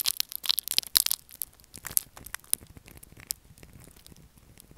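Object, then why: Solid bar of soap. Fingernails scratch and crumble a pale blue solid soap bar with a scored surface, sending flakes falling. Dense, bright, dry crackling and crunching is loudest in the first second or so, then thins into scattered sharp crisp ticks that fade quietly.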